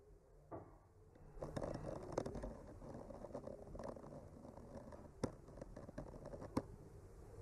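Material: Wood.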